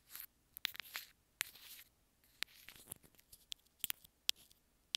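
Long nails tap and scratch the housing of a small, hollow white plastic earphone inline remote. Nine sharp, bright clicks stand out among quieter scratchy, rustling bursts. The sound is quiet and dry, with almost no low end and no ring after each tap.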